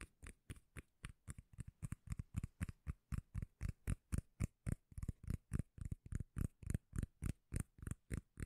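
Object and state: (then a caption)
Cork lid. A round, palm-sized, solid cork lid is held beside a microphone and tapped and scratched with long nails. About 36 quick, muffled, bassy thumps come at a steady pace of roughly four per second, each with a faint bright scratchy edge and no ring after it.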